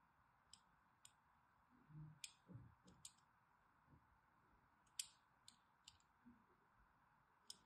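A thin blade scores crosshatch lines across the face and corner of a solid, mint-green embossed bar of soap held in the hand. Short, sharp, bright scratching clicks come one at a time over a quiet, steady hiss, with a few soft low thuds in between. Each stroke stops almost at once with no ring.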